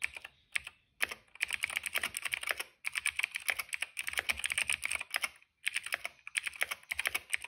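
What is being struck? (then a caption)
Plastic mechanical keyboard. Fingertips of both hands type on a retro-style cream plastic mechanical keyboard with black and purple keycaps. Quick bursts of bright, clacky keystrokes are broken by a few short pauses, and each click ends almost instantly with no ring.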